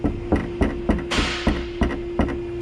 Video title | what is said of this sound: Genesis G80 ABNORMAL NOISE | that's a very distinct rattle